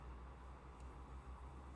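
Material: Nothing is struck.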